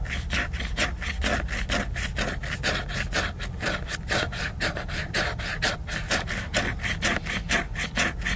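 Fingernails scratch vigorously across the glossy cover of a large, solid, flat laminated cardboard hardcover book. The sound is a steady run of rapid, rhythmic rasping strokes, about two per second, with a bright scratchy texture over a low rumble.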